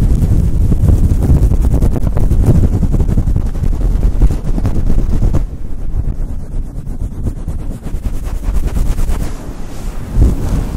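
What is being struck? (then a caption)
Faux fur microphone windscreen. A fluffy faux fur windscreen on a Blue Yeti microphone is rubbed quickly with fingertips and nails. The result is a dense, continuous low rumbling and scratchy brushing, dropping slightly quieter after about five seconds before one last louder swipe near the end.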